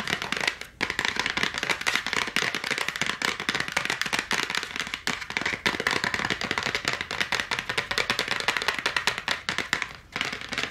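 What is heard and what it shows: Long acrylic nails tap fast on the flat printed cardboard back of a 16-pack AA battery blister package held in both hands. The result is a dense, rapid stream of crisp, dry clicks, bright with a papery crackle and almost no low end or ring, broken by brief pauses near the start, the middle and the end.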